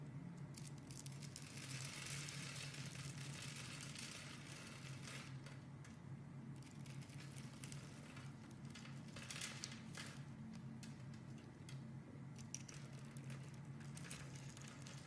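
A solid green bar of soap with stamped lettering, held in the hand, is scored and scraped into small cubes with a metal utility-knife blade. Steady, bright crackling scrapes come in dense bursts over a constant low hum.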